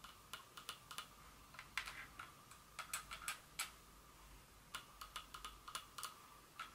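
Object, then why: Small glass perfume bottle. Long fingernails click and tap on a small glass Dior perfume bottle resting on a table. About 22 quick, light clicks come in uneven bursts, each a bright, glassy tick with a faint ringing tone near 1.2 kHz that dies away almost at once. The taps are quiet against a soft background hiss.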